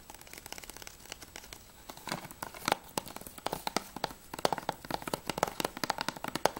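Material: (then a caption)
Plastic. Fingernails tap and scratch quickly across the spine and then the back cover of a plastic Battlefield Bad Company 2 PS3 game case. The result is a fast run of dry, clicky plastic taps with crinkly scratching between them, each tap ringing briefly around 850 Hz with bright, high edges. The taps grow louder and more pronounced in the second half.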